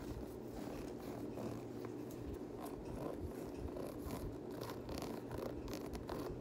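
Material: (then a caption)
Knit fabric. Fingertips scratch the knit textile upper and ribbed midsole of a Yeezy 350 knit fabric sneaker with a ribbed rubber sole. The result is a continuous, soft, dry scratching with a low rumbling body and faint brighter flicks, holding at an even, quiet level throughout.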